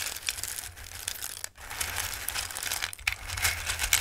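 Fingertips with long nails rake and shuffle a bowl of hard, dry raw Christmas pasta shapes, then drop a handful back in. The sound is a dense, bright, dry rattling and crinkly clicking with a brief lull near the middle. Sharper clatters come toward the end as the pieces fall back into the bowl.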